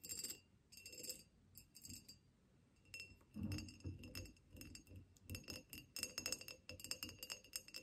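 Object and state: Ribbed glass vase.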